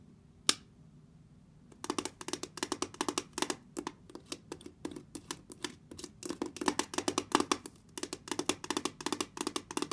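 A round brushed steel lamp base with rocker switches and an outlet is tapped and scratched with long red nails and fingertips. A single sharp tap is followed by a short pause, then a steady run of rapid, crisp, bright clicks and light scratches with almost no ring.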